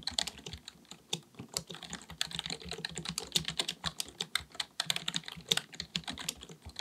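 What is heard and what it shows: A black full-size plastic computer keyboard on a desk is typed on with the fingertips of both hands. Rapid, bright key taps click in quick succession with a clicky, high-heavy sound. Each tap stops almost at once with no ring.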